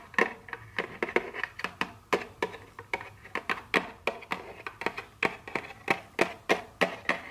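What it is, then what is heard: Cardboard candy box tapped with fingernails. Very long nails tap and scratch the back of a small, hollow, printed cardboard chocolate candy box held in the hand. About 29 quick, dry, irregular taps come through, each a sharp bright click with almost no ring. Faint scratching fills the gaps between them.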